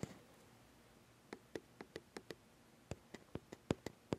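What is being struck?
Metal mirrorless camera body.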